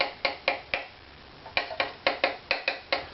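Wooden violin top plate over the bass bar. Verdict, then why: Low. Eleven light, sharp taps move across a wooden violin top over the bass bar, each giving a short, bright knock with a clear tone around 550 Hz that dies away quickly. A brief pause splits the taps into two groups. The tone drops as the tapping passes over the bass bar, showing the bass bar is a little low compared with the top plate's target pitch.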